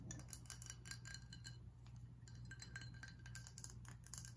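A glass whiskey bottle is tapped and scratched, giving quick, bright clinks and light scraping glass sounds that die away almost at once. The taps come in a dense, uneven stream over a steady low hum, and the whole clip is quiet.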